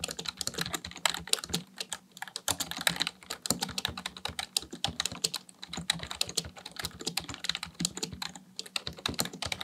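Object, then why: Plastic computer keyboard. Fingertips type continuously on a full-size black plastic computer keyboard. They produce a rapid, uneven stream of short, bright clicks with almost no ring, over a faint steady low hum.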